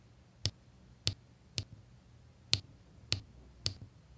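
A pink drill pen with a metal tip taps square resin diamond-painting drills into place on a flat adhesive canvas beside an already filled area. Six short, dry taps come at uneven intervals, each a bright high click over a faint low thump, with almost no ring.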